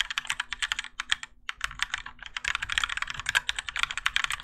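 A Keychron K4 compact mechanical keyboard with grey and orange ABS plastic keycaps and Gateron Yellow switches, in a plastic and metal case resting on a desk mat, is typed on continuously with the fingertips of both hands. The result is a fast, steady stream of short, bright, clacky keystrokes with a brief pause near the middle.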